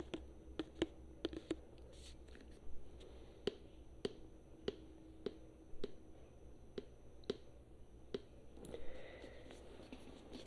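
Long nails tap and scratch a tall plastic hair-conditioner bottle with a green label, held upright, its fill level not visible. A quiet series of short, dry, clicky taps carries a hollow plastic tone over a steady low hum. A soft scratching swish rises near the end.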